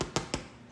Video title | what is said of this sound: Making bread with Tamzin Cochrane! | when I tap it I want that hollow sound